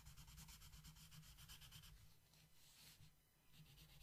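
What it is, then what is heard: Colored pencil shading on a paper page. A yellow wooden colored pencil shades a flat paper coloring book page in steady back-and-forth strokes. The quiet, scratchy rubbing pulses rhythmically with a bright hiss over a low steady rumble, then smooths into a softer, continuous scrape toward the end.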